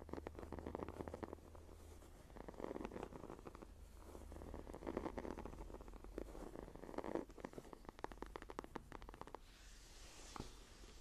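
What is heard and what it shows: Fingertips and nails tap and scratch the cover of a closed, dark green, textured leather journal with a cord tie, a solid book. The sound is a quiet, dry rustle of scratching strokes in the low-mid range, broken by soft, quick taps, over a faint steady low hum. Near the end, a brief brighter, hissing scrape stands out.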